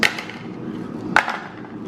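A plain flour tortilla, crisped in an air fryer at 380 for six minutes until burnt, is tapped and gives a few short, dry, hard knocks with a crisp high-pitched click. It sounds stiff and brittle like cardboard, over-crisped, and tastes gross.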